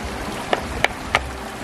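A limestone flat rock meant for a moss rock pathway is tapped gently against another rock three times to check for hidden cracks, giving short, sharp clicks over a steady background hiss. A piece breaks off, showing the rock was already cracked and would have broken within a few steps.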